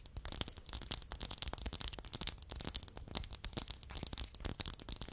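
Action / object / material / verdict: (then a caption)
tap / small wooden block / wood / none. Two identical small, solid, light-colored wooden blocks are held by hand beside a foam-covered microphone and tapped and scratched with long acrylic nails. A rapid, continuous run of dry, bright clicks and scratchy scrapes is heard, each tap dying away almost instantly with no ring.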